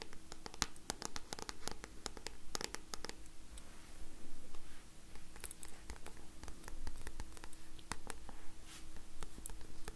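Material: Card.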